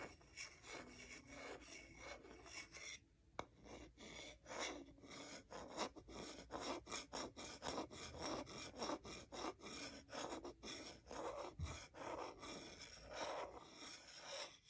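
The bowl of a solid wooden salad spoon is rubbed and scraped with a wooden salad fork, and fingertips also slide over the bowl. The result is a run of quiet, dry, raspy strokes in an uneven rhythm, with a bright, filing-like texture and very little low end.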